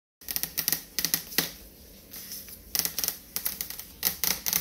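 Fast tapping with long fingernails on a refrigerator door makes bright, clicky taps in quick bursts. The taps are separated by brief pauses, and each one cuts off almost immediately.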